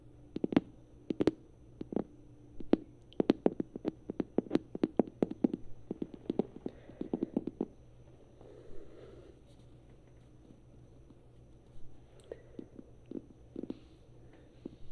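A small hollow yellow vinyl rubber duck, held in both hands, is tapped and squeezed with long nails and fingertips. Quick, sharp, hollow clicks come in fast bursts for the first eight seconds or so, then give way to soft, muffled squeezing. A few scattered taps return near the end.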